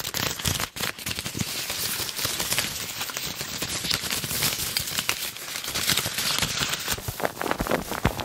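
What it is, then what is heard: Plastic ribbon gift bow being crinkled. A red plastic ribbon gift bow is squeezed and crinkled in both hands with the fingertips. It makes a dense, continuous, bright crackling and rustling for the whole clip, with quick sharp snaps throughout and a brief dip in level near the start.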